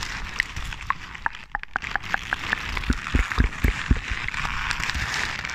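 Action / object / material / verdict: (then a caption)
scrape / paper sheet / paper / none. A hand-sized crumpled sheet of white or grey paper, light and hollow when balled up, is crinkled and squeezed with fingers and long painted nails close to the microphone. Quick, irregular crackles and sharp snaps sound over a soft, bright hiss, with a few deeper, heavier crunches in the middle of the clip.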